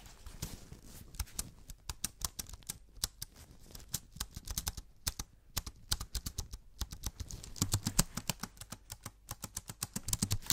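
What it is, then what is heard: Aluminium keyboard with plastic keys. An Apple-style wireless keyboard with an aluminium body and white plastic keys is held upright near the microphone and tapped and typed on with black-gloved fingertips. A steady run of quick, dry clicks and taps rises and falls in density over a low background. Each click is short and bright, with very little ring.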